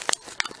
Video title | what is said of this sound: Freeze Drying Raw Meats | if you can hear the crunch, that's a good sign, because that says that the food has not rehydrated for some reason inside of the bag